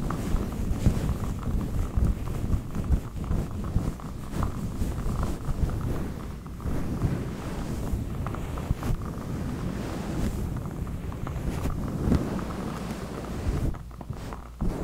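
Fingertips rub and scratch a fluffy faux-fur windscreen over a large black USB microphone. The result is a dense, low, rumbling rustle with a purr-like texture, steady throughout with brief dips and soft crackles.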